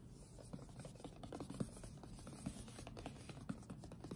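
Fingertips tap and rub the top face of a closed, printed cardboard retail box for an Apeach keyboard, hollow with the product inside. The result is quiet, dull, low taps with a hollow thump and almost no ring, over a continuous soft scratchy rubbing.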